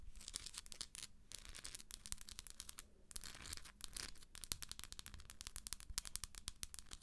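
Long acrylic nail tips tap rapidly on the top of a hollow plastic galaxy moon lamp resting below the hand, giving quiet, bright, dry clicks with almost no ring. Brief scratchy, hissing stretches break in between the taps over a faint low rumble.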